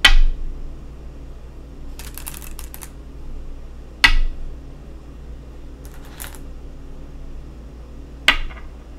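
Go stones are placed on a wooden go board, giving three sharp, bright clacks with a short ring, each followed by a quick decay. Fainter, quieter clicking rustles fall between the placements, over a steady low hum.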